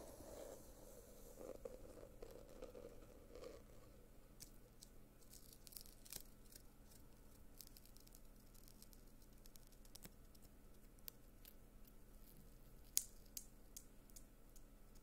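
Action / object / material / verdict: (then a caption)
tap / small glitter-covered cardboard box / cardboard / none. Fingernails tap and scratch a small rectangular gold glitter-covered cardboard box held in the hands close to the microphone. Soft, crackly scratching and rustling continue under scattered sharp, bright taps, with one louder click near the end over a low steady hum.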